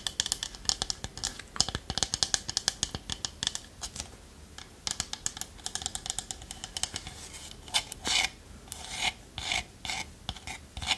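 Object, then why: Small wooden pot with lid. Long nails scratch and tap the body of a small hollow wooden pot with a lid and a spoon inside. The sound is a dense run of bright, dry rasping scrapes and quick clicky taps, mostly high in tone with very little low end. Each hit dies away almost instantly, with a few louder bursts near the end.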